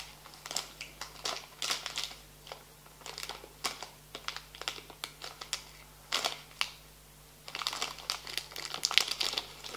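A small, full, green printed plastic foil bag of rosemary crackers is held and folded in both hands, then crinkled and squeezed with the fingertips. Bright, crisp crackling comes in uneven bursts separated by short quiet pauses, growing denser and louder toward the end. A faint, steady low hum sits underneath.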